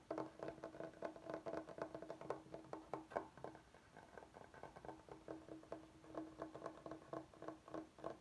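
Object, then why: Bamboo cutting board. Fingertips and short nails tap and scratch on a large solid bamboo cutting board, on the side with a juice groove. Quick, dry taps come in rapid bursts, each with a short woody ring around 680 Hz. Softer scratching fills the gaps, with little deep or bright content.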